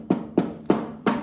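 A side panel near the exhaust of a Cobra Daytona car build, backed with siliconed carbon fiber, is knocked four times. Each knock is a short, dull mid-pitched thud that dies away almost at once. The panel sounds rock solid, like a solid door.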